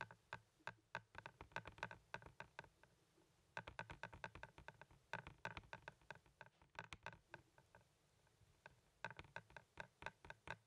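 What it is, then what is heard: Plastic Blu-ray case tapped. Fingers and nails tap and click on a hand-sized, hollow blue plastic Blu-ray case for Napoleon Dynamite, held up in one hand. Quick, dry, bright clicks with a hollow plastic tone come in rapid bursts separated by short pauses. Each tap dies away almost at once.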